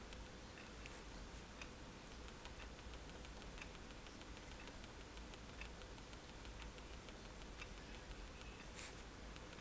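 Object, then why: Paper sheet tapped with a pen tip. A fineliner pen tip is tapped onto a flat sheet of white drawing paper resting on a table to make dots. Faint, quiet ticks with bright, short clicks repeat at an uneven pace over a steady low hum and soft background hiss.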